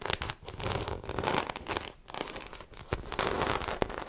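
Long acrylic nails scratch the textured side of a small black croc-embossed faux leather shoulder bag that is held up by hand, hollow and apparently empty. The result is a dense run of dry, crackling scrapes and bright, rustling bursts that swell and fade over about four seconds, with a few sharper ticks standing out.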